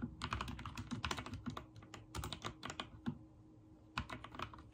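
Fingertips type on a backlit mechanical keyboard with white and teal plastic keycaps, producing a rapid run of sharp, bright clicks with short, dry decay. Bursts of keystrokes come in uneven clusters with a few brief pauses, over a faint low steady hum.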